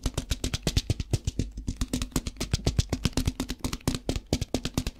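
A translucent plastic tub with a lid, partly filled with rice, is tapped with fingertips and shaken. About 40 quick, dry taps land in a steady run, each a short thump with a bright rattle of grains that dies away almost at once.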